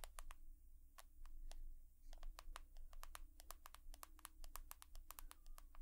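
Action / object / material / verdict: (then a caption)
tap / smartphone, glass and metal / glass / none. An iPhone, glass and metal, is tapped rapidly with long nails, producing a quick run of crisp, bright clicks that ring only briefly. A steady low hum sits underneath the whole time.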